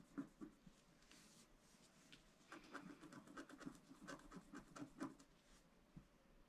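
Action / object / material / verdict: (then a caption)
scrape / coated scratch-art paper scraped with a wooden stylus / coated paper / none. A wooden stylus scratches the coating of a black-coated scratch-art card lying flat on a table. Quiet, dry scraping strokes come in a steady series of short bursts, each with a brief rasp that stops almost at once. The strokes thicken and grow louder in the middle before easing off.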